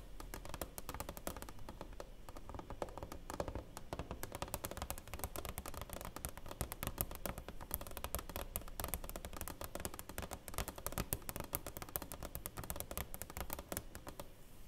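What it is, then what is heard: Framed plaque with clear plastic cover. Long nails tap rapidly on the clear plastic cover and along the frame of a framed silver play button award plaque. The result is a steady, dense stream of short, dry clicks and taps with a low, thumpy body and little ring, continuing for the whole clip.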